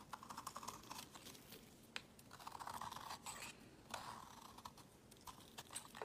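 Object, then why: Solid bar of soap. A palm-sized, solid, opaque tan-orange soap bar is held in the hand and shaved into flakes with a utility knife blade, carving and scraping as the shavings pile up below. Quiet, dry, crisp scraping strokes come in quick bursts with a bright, crackly texture, interspersed with a few longer scrapes and short pauses.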